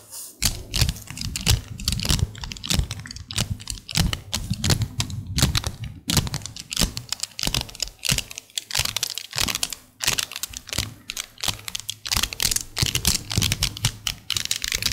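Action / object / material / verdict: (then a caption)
shake / strand of small metal beads / metal / none. A strand of small, solid, shiny silver metallic beads (a bracelet or magnetic balls) is held dangling by fingertips with painted nails, then shaken and clicked against each other. The result is a rapid, irregular stream of short, bright clicks and rattles with a low steady hum underneath.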